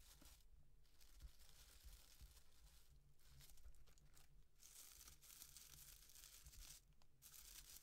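Long dark-painted nails scratch and tap a small hollow cardboard llama piñata covered in tissue-paper fringe, held up in the air. Quiet, bright crinkly rustling and papery scratching come in bursts with short pauses, over soft low taps from the hollow body.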